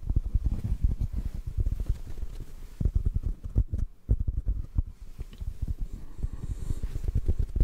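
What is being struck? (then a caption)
Foam microphone windscreen. Fingertips tap a hollow black foam windscreen held above the mic, producing a rapid run of soft, muffled thumps. The sound is almost entirely deep, low-end thuds with very short decay and no bright content.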